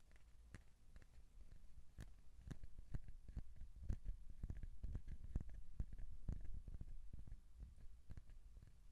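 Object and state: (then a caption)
Cardboard tube. Fingertips tap and scratch on the surface of a hollow cardboard tube held horizontally close to the microphone. Soft, dull, low thumps come at an irregular pace of about two per second, each dying away almost at once, with faint scratchy rustling between them. The sound stays quiet and muffled, with nearly all of its weight in the low end.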